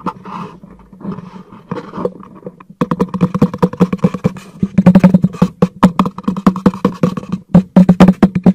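A hollow black cardboard product box, held upright, is tapped and knocked with fingertips on its face and sides. Soft, sparse taps for the first few seconds give way to a dense, louder run of quick knocks. Each knock is short and dry, with a hollow low resonance.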